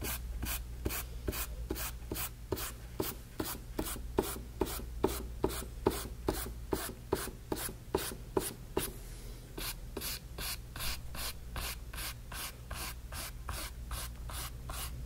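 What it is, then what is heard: Brush strokes on a painted canvas panel. A flat bristle brush is dragged in short rubbing strokes across a small canvas panel covered in wet orange paint, about 37 strokes at a steady pace of roughly two per second. Each stroke is a brief, bright, scratchy swish over a constant low hum. The strokes are sharper and louder for the first nine seconds, then turn softer and more muffled.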